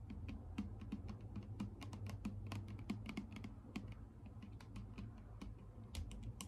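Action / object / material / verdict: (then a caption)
tap / plastic bottle partly filled with liquid / plastic / none. A clear plastic micellar water bottle with a pink cap, partly full of liquid, is tapped rapidly with long acrylic nail tips. The result is a quick, uneven stream of short, crisp clicks with bright, high edges over a low, steady hum and a hollow tone near 200 Hz. Each tap dies away almost at once.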